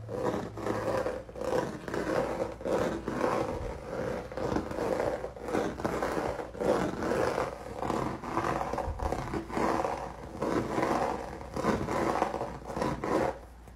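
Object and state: Textured acrylic paint canvas.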